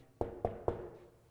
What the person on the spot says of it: banging on this table here you can hear the sound